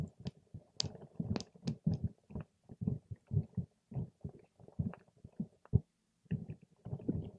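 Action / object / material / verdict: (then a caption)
scrape / water gel beads in a plastic cup / water gel / none. A patterned paper straw is pushed and stirred among soft purple water gel beads in a clear plastic cup, giving squishy, wet poking sounds. The sound is mostly low and muffled, with brief bright ticks on some pokes, and it comes in a rapid, uneven string of bursts with a short pause near the end.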